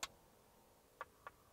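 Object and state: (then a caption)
Tapped laminated ballistic glass. Three short, dry taps on the bullet-struck, multi-layer laminated ballistic glass with a polycarbonate inner layer inside an armoured Land Cruiser. The first tap is the loudest and brightest, a crisp high click. The next two, about a second later, are quieter, duller knocks centred near 1 kHz, and none of them ring on.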